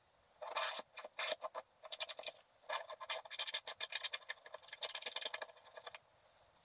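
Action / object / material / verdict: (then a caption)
scrape / black-coated scratch art paper card scraped with a wooden stylus / coated paper / none. A wooden stylus scrapes large areas of black coating off a flat black-coated scratch art paper card, leaving many flakes behind. Bursts of short, dry, bright scratching strokes come in quick rhythmic runs with brief pauses, with almost no low end. The clip ends in near silence.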